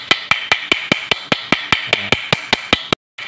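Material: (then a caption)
Aluminium, steel. A long steel rod held inside a hollow, empty, hand-held cast aluminum water pump housing from a Yamaha Vixion repeatedly taps the steel bearing and seal area seated in its center. Fifteen sharp, bright metallic clinks come at a steady, even pace, each with a ringing tone near 2 kHz that dies away almost at once. The taps then break off into a brief silence.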